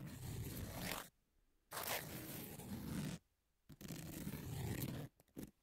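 Long nails scratch the surface of a long, thin, flat emery nail file with a pink edge lying on a table. Three sustained, gritty rasping strokes, each about one to one and a half seconds, are separated by quiet pauses and carry heavy low rumble under a broad, bright hiss. A few brief scratches close the clip.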